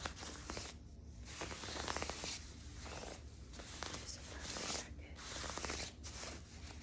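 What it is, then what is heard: Quilted nylon puffer jacket. Long nails and fingertips scratch and rub the quilted surface of a soft, padded light pink nylon puffer jacket held up in view. A steady, bright, scratchy rustling swishes in waves, with brief quieter dips between strokes.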